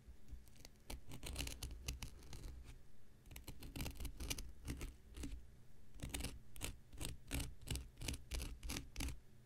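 An X-Acto knife blade scratches and picks at the dry, porous surface of a thick, hand-sized, light blue cellulose sponge block held in the hand. Short, bright, crackly scratching bursts come in quick uneven runs over a steady low hum, all at a quiet level.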